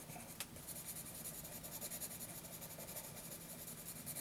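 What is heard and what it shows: A graphite pencil scratches shading strokes across a lined paper notebook page. The quiet, steady rasping comes in quick rhythmic strokes with a bright, airy scratch on top, and a short sharp tick sounds near the start.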